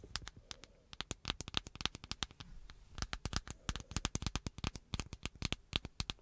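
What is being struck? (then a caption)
Smartphone with glass and plastic body. Long acrylic nails rapidly tap and scratch the hard, flat glass-and-plastic surface of a black handheld smartphone held behind the microphone. Dense runs of sharp, bright clicks with a dull low thump underneath die away almost instantly, separated by faint scratching.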